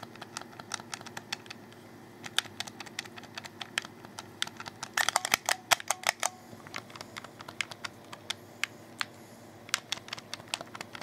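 Fingertips click the buttons and thumbsticks of a hollow black plastic Xbox 360 controller. Short, bright plastic clicks come in an irregular stream, with a dense flurry of rapid clicks around the middle, over a faint steady low background. Each click stops dead with no ring.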